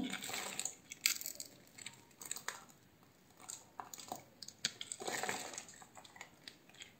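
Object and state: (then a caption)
Bar of soap being cut. A metal utility-knife blade scrapes and cuts across a solid, palm-sized oval pink bar of soap held in one hand, its surface scored into a grid, shaving off small soap cubes. Quiet, bright, crisp crunching and scraping comes in short bursts, with sharp clicks as the cubes break free.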